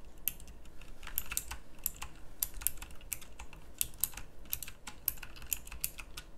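Fast typing with the fingertips of both hands on a pink plastic mechanical typewriter-style keyboard with round plastic keycaps, producing a rapid stream of sharp, bright clicks. Each keystroke is short and crisp over a steady low hum.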